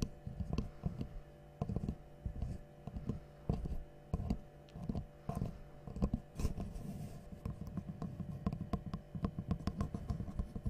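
A small, light, solid wooden L-shaped angle piece, held in both hands, is tapped and scratched with long nails. Soft, dull, low-pitched taps come in quick clusters, with short scratching between them and almost no ring after each hit. The clusters grow denser and more continuous toward the end.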